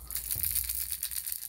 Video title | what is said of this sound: February 6th Sense unboxing.... | You get both the thud and the rattle when you're retrieving this. So it's such an unusual sound to the fish.